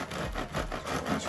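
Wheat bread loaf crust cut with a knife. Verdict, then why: Crunchy. A knife saws through the crust of a cooled rustic artisan wheat loaf, baked in a covered pot and then uncovered until caramel-coloured, with an airy crumb inside. Steady rasping, crackling crunches pulse with each back-and-forth stroke. The crust is very crunchy.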